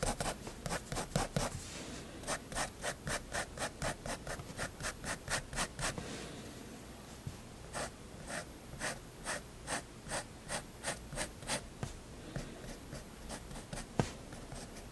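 A fineliner pen tip rubs and scratches hatching lines across a white sketchbook page resting on a wooden table. Quick, bright scratchy strokes come in two rapid runs, with a short soft pause between them. A final sharper tap sounds near the end.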